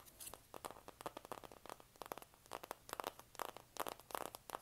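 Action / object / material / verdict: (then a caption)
scrape / cardboard eyeshadow palette / cardboard / none. Long nails scratch and tap on a flat, rectangular, hand-sized pink printed cardboard eyeshadow palette. The result is a quiet, quick run of dry, crisp clicks and scratchy crackles that is mostly mid-toned with almost no low end, and each hit stops at once.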